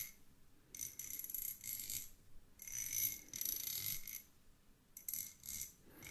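Two small solid threaded steel screws held in the fingertips are rubbed and tapped against each other, giving bursts of bright, high metallic jingling and scraping. The sound comes in three main clusters separated by brief quiet gaps, with fast-decaying chimes.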